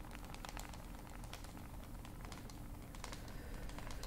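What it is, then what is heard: Smartphone tapped with fingernails. A dark smartphone with a glass screen and hard casing is held in both hands and tapped and scratched with long pointed nails. Many quick, bright clicks and light scratches sit over a steady, quiet low rumble.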